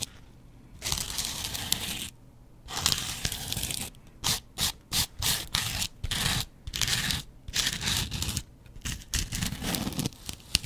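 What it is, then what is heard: Foam kitchen sponge scraped with a razor blade. A double-edge razor blade is scratched across a yellow porous foam kitchen sponge close to the microphone. Bright, raspy scraping strokes come in short stop-start bursts with brief quiet gaps, each dry and crisp with almost no ring.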